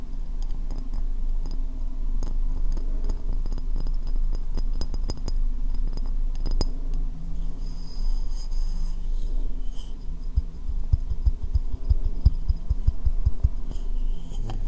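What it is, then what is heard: Ceramic bowl tapped with fingernails. A medium, hollow, empty white ceramic bowl is held upside down like a dome over the microphone and tapped with long painted fingernails. The result is a steady stream of quick, dull, muffled clicks over a deep hollow resonance, with a few brighter nail ticks toward the end.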